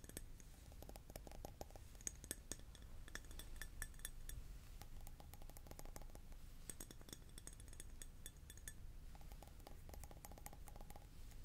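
A glass object is tapped repeatedly, producing quick, bright clinks with very short ring over a steady low rumble. The taps come in irregular clusters throughout, some sharper and louder than others, with a faint tonal hum in the midrange at times.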